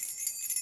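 Metal keys are shaken, giving a bright, tingly, high-pitched jingle like small bells. The sound sits almost entirely above 2 kHz, with a continuous shimmer and no low end.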